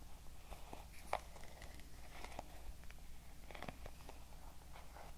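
Long nails tap and scratch the wooden back and wooden pins of a wooden paddle hair brush. Soft, dry clicks and brief scratchy strokes come at an uneven pace over a steady low hum, with one slightly sharper tap standing out.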